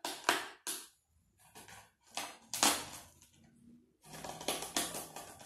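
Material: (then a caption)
Salt. Fingertips press a small green plastic cookie cutter into a loose layer of coarse white salt, possibly Epsom salt, in a shallow black round tray, stamping circles while other cutters lie untouched to the side. Bright, gritty crunches come in uneven bursts separated by short near-silent pauses as the crystals crack and compress. A denser run of crunching closes the clip.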